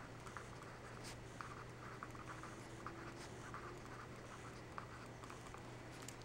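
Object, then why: Pencil on paper notebook pages. A yellow wooden pencil's graphite tip scratches across an open graph-paper notebook resting on a thick stack of paper pages while writing. The scratching is quiet and continuous over a steady low hum, with seven light, brighter ticks where the lead presses or lifts.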